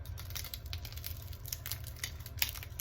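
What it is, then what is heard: Crispy fried pastry fritter. A thin, fried pastry shell on an apple-filled fritter roll gives off a quick run of short, sharp crackles and ticks over a steady low hum. The crisp, brittle sound shows how crispy the fried shell is.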